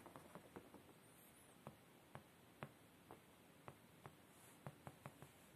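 Fingertips tap and scratch quickly on a beige woven-fabric padded chair seat, giving about 13 soft, dull, muffled taps spread unevenly over a quiet hiss. Light scratching fills the gaps between the taps.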